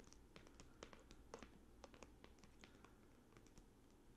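A closed red Ultra Pro trading-card binder, with a padded red faux-leather synthetic cover over a stiff board, lies flat on a playmat. Plush fursuit paws with long, hard plastic claws tap and scratch it. The result is a quiet, irregular stream of short, dull clicks and scrapes over a soft low rumble.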